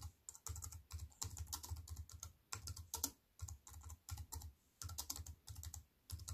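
Fingertips with long white-painted nails tap quickly on the black plastic keys of a compact wireless keyboard with a grey metal-look frame, lying flat on a wooden table. Bursts of crisp, bright clicks with a soft low thump underneath come in runs, separated by short quiet pauses.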